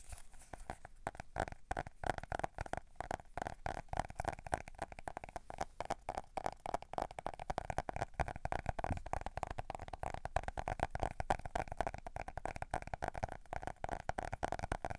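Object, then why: Faux leather notebook cover. Fingernails scratch the textured cover of a closed brown faux leather notebook held in both hands. A dense run of short, dry scratching strokes repeats steadily throughout, each dying away almost at once, with a soft hum steady around 700 Hz to 1.3 kHz underneath.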